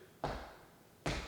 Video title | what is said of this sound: Performing a Home Inspection with Certified Professional Inspector® CPI Clay Collins July, 2025 | This floor has been built up and you should be able to hear it. It's hollow.